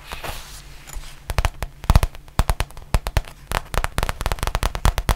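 A flat, soft, hollow black faux leather zippered pouch is scratched and tapped with long painted nails. Soft scratching opens the clip, then a rapid run of sharp, dry taps and clicks follows with brief, bright transients and a low, muffled thump under each tap.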